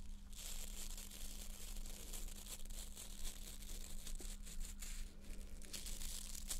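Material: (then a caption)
Plastic. Long painted nails scratch along the bristle rows of a small white plastic nail brush with a solid plastic back and stiff plastic bristles. The result is a quiet, continuous, bright scratchy crackle with a crinkling, tearing texture. A steady low hum runs underneath throughout.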